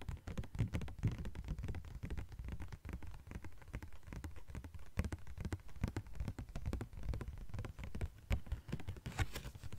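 A thin yellow-green translucent plastic sheet is tapped and scratched with long nails. It makes a dense, irregular patter of quick, dry taps and scratchy rustles that sound mostly soft and low, with a brighter scratch near the end.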